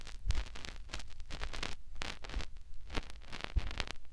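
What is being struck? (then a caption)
Silicone microphone ear. Fingertips rub and press inside the ear canal of a white, soft silicone ear mounted on a round white binaural microphone housing with a metal ring. The result is a steady run of close, crackly rubbing and scratching bursts over a heavy low rumble, with brief bright swishes as the fingers shift.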